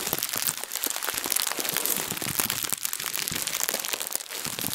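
A translucent plastic bag is twisted and crumpled in both hands. It makes a dense, continuous crinkling full of sharp, bright crackles, with almost no low end.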